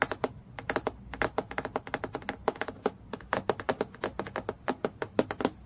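Long nails tap rapidly on a transparent acrylic plastic clipboard lying flat, striking the sheet surface. About 40 quick, dry clicks come in an uneven, fast rhythm, each sharp and bright with almost no ring, centered around a mid pitch near 430 Hz.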